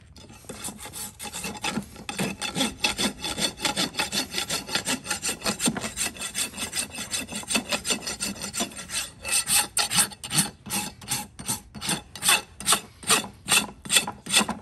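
A large steel rasp files the outer wall of a shod horse hoof, solid keratin, resting on a metal hoof stand. Quick, repeated strokes give a dry, bright rasping scrape. The strokes run close together at first, then become more separate and pronounced in the second half.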